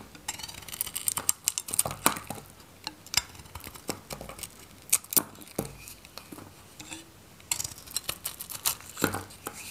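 A solid oval bar of dry white Godrej No.1 soap with a yellow-gold varnish coating is held in the palm and shaved with a metal craft knife. Many short, crisp scraping and crackling cuts sound one after another, with bright, brittle edges that die away almost at once. Gaps of soft rustling fall between the cuts.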